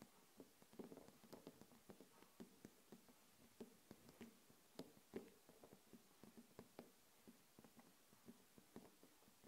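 Long nails tap quickly and irregularly on a small wax-filled glass jar candle with a glass lid, standing on a table. The quiet, short, dry clicks carry a faint mid-low glassy tone around 380 Hz, with a few sharper, brighter taps over a soft background hiss.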